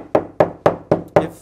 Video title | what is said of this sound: How to buy doors that don't suck... (info-dense episode) | if you knock on this door it feels pretty lightweight